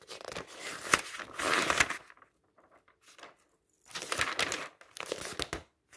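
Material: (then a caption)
Glossy paper. Fingertips repeatedly flip the thin pages of an open glossy paper magazine lying on a table. The result is bursts of bright, papery rustling and crinkling, with quiet gaps and faint soft sounds between the turns.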